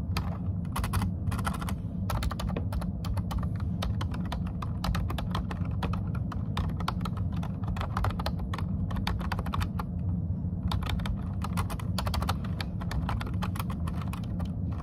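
Both hands type continuously with short-nailed fingertips on a low-profile plastic computer keyboard. A rapid, uneven stream of crisp, bright key clicks sits over a steady low rumble that carries most of the energy, and the tapping stays at an even level throughout.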